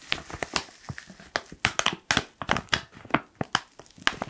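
Fingertips crinkle and squeeze the top edge of a black foil-lined plastic coffee pouch. The result is a quick, uneven series of sharp, bright crackles and crinkles with very short decays, each followed by brief quiet.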